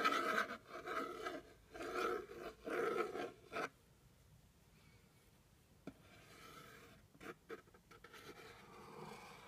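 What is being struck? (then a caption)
Cardboard box. A thin white stick with a red tip scrapes and rubs across the top surface of a medium, hollow, plain brown cardboard box. Several loud, dry rasping strokes come in quick bursts for about the first three and a half seconds, then go near-silent apart from a faint tick. Softer, lighter scratching returns toward the end.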